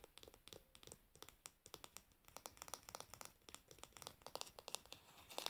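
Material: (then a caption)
Wood. Long nails tap and scratch the glossy varnished wooden handle and back of a solid wooden hairbrush. The result is a quiet, dense run of dry, bright clicks and scratchy crinkles with almost no low end.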